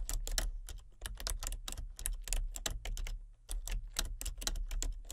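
Both hands type steadily with painted-nail fingertips on a full-size plastic computer keyboard with color-changing backlit keys, seen from above in the dark. Quick, crisp plastic clicks come in a dense, irregular stream with short pauses, each keystroke bright and sharp with little ring. A steady low hum sits beneath the typing throughout.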